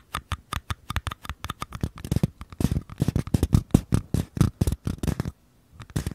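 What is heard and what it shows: Fingertips and nails tap and scratch the outer walls of small empty mini paper cups held sideways, one in each hand. The result is a quick run of dry, hollow, close taps with soft scratchy texture, heavy in the low end and dying out at once. The tapping briefly pauses near the end, then starts again.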